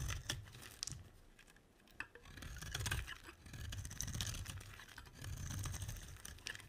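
A solid rectangular mint-green bar of soap, held in the hand, is scraped with a metal utility blade, peeling off long shavings. Dry, crackly scraping strokes rise and fade, with bright crisp ticks over a soft low rumble.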